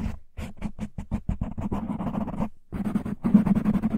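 Fingertips and short nails of both hands scratch and rub rapidly on a black, soft, porous foam windscreen covering the hollow head of a large microphone. Separate muffled scratches start out spaced and speed up into a dense, continuous rubbing with a low, boomy tone. After a brief pause, the rubbing returns even thicker and louder.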